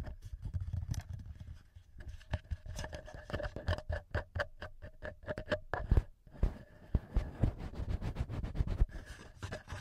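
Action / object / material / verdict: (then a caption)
tap / plastic handheld audio recorder with metal mic capsules / plastic / none. Short nails and fingertips of both hands tap and scratch the top housing and the two metal-ringed microphone capsules of a small, solid black plastic TASCAM handheld recorder. The result is a close, rapid run of sharp clicks and dull, bassy thumps with soft scratching between them. A faint steady hum sits underneath at about 600 Hz and 1.7 kHz.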